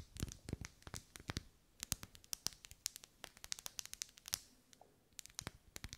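Long nails scratch and tap along the vertical ribs of a lit, hand-held pink pillar candle made of solid wax. Many quick, dry, bright clicks and scratchy ticks follow one another with almost no ring, broken by a short pause near the end. The overall sound is quiet and crisp.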